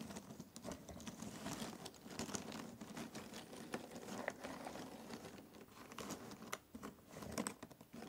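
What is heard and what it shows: Fingertips pick at and stir a pile of loose, thin cardboard jigsaw puzzle pieces in a box. The result is a quiet, continuous patter of soft, dry clicks and light rustling, with brief brighter taps scattered throughout.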